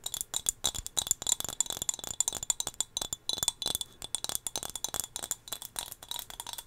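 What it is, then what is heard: Glass figurine. A small, solid turquoise glass whale figurine is held close to the microphone and tapped with long fingernails. The taps come in a quick, uneven stream of bright, high-pitched clicks and clinks. Each tap dies away almost at once, with very little low end.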